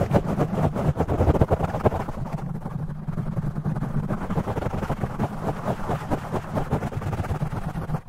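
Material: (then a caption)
Foam. Fingertips and nails of both hands rapidly scratch and tap a soft, porous black foam windscreen on a studio microphone, with the audio sped up 2x. The result is a dense, continuous stream of muffled, boomy low thumps and rustling scrapes, concentrated in the low end with almost no high content.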